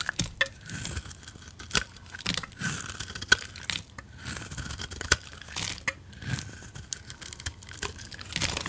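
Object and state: Bar of soap being carved.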